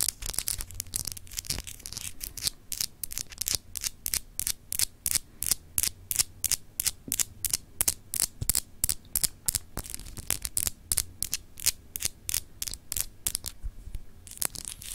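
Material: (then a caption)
Glass. Long acrylic nails scratch across a palm-sized solid glass globe paperweight with etched continents, producing rapid, bright, crisp scratching strokes at roughly three per second. The strokes come in a steady but uneven rhythm over a faint low hum, each scrape ending dry with no ring.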